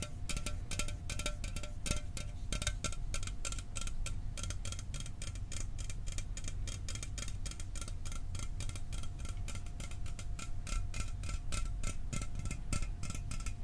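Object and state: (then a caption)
Aluminum soda can. An aluminum soda can is tapped rapidly and steadily for ASMR metal sounds. Each tap gives a short, bright tick with a faint metallic ring over a low, dense rumble, and the quick tapping keeps a fairly even level throughout.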